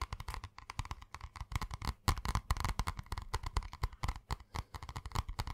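Fingertips and nails tap quickly on the cardboard cover of a purple spiral notebook held in the hands. The result is a rapid, uneven run of dull, low taps with very short decay and occasional brighter clicks from the nails.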